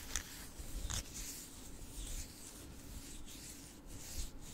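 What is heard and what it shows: A palm-sized solid orange Himalayan rock-salt block has its surface rubbed and scratched with fingertips and nails. The result is a quiet, continuous dry scraping with a low rumble beneath, plus brief bright scratchy bursts.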